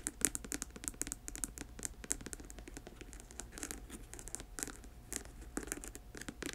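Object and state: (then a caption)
Patent leather boot, scratched and tapped. Long nails scratch and tap the upper near the collar of a black patent leather boot with a thick rubber sole, hollow and empty. The result is a quiet, dense stream of crisp, bright scratches punctuated by sharp little taps that die away almost instantly, over a faint steady low hum.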